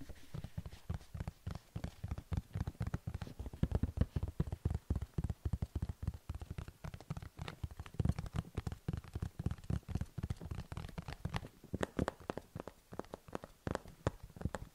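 A black plastic computer keyboard with blue-lit keys, held upright close to the microphone, is tapped and pressed by fingertips on its keys and frame. A dense, uneven stream of quick, soft, dry clicks and taps is heard, mostly low and thumpy with very little brightness. Each tap stops almost at once.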